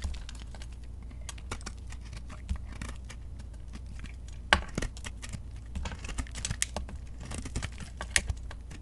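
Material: Soap.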